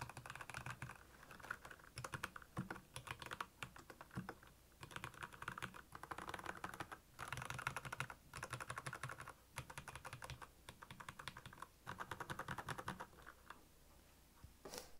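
Fingertips of both hands type on the keycaps of a black backlit plastic Royal Kludge mechanical keyboard. Bursts of rapid, dry clacking keystrokes, each with a short click and a low thock, are separated by brief pauses. A final brighter clack closes the clip.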